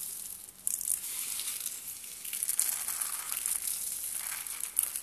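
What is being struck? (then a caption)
Dry soap shavings. A handful of fine, light-green dry soap shavings is squeezed and rubbed between palms and fingers. The result is a quiet, continuous, bright crunching and crinkling texture, with many small crackles layered together and almost no low end.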